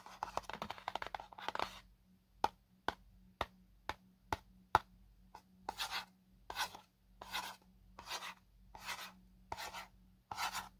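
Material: Paperboard.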